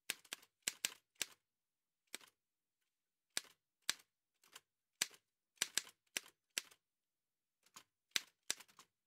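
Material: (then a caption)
Metal. Fingertips in white satin gloves type quickly on an old dark-grey metal Remington manual typewriter with paper loaded and a hollow body. About seventeen sharp, bright key taps come in irregular bursts separated by short silences. Each tap is a dry click that dies away almost instantly.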